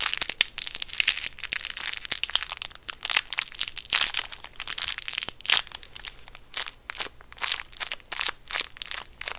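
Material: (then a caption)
Plastic film. A small, round, solid white peppermint candy in a clear, crinkly plastic wrapper is held between the fingertips of both hands, and the fingers squeeze and crinkle the wrapper. The result is dense, bright crackling and crunching in quick bursts that rise and fall, with almost no low end and no ring after each crackle.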